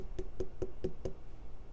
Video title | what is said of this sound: Melon Salad with Citrus Dressing | ripe watermelon should have a deep hollow sound when you tap on it